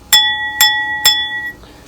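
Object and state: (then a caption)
Uncracked bone china cup (rings). An English bone china cup from a full tea set is flicked three times, each strike giving a clear, high glassy ping with bright overtones that ring on briefly before fading. The clean ring shows the cup is sound and uncracked, since bone china that does not ring is cracked.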